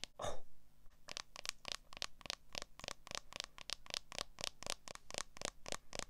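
Long nails tap and scratch the back of a smartphone in a clear plastic case held in front of the microphone. A brief scratchy rustle opens the clip, followed by a quick, steady run of sharp, crisp clicks that continues to the end.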